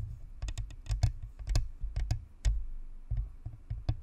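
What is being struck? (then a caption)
Plastic spherical microphone shell. Long nails tap rapidly on the top of the shell of a white, hollow, spherical plastic-and-metal USB microphone (Blue Snowball). The result is a quick, irregular run of short, typing-like clicks, each with a deep, thumpy body and a brief bright tick that dies away almost instantly.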